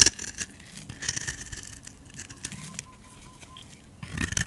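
A utility knife blade scrapes fine shavings off a solid, hand-sized bar of white soap with a green edge. The crisp, bright scraping comes in short bursts, loudest at the start and again near the end, with quieter shaving strokes in between.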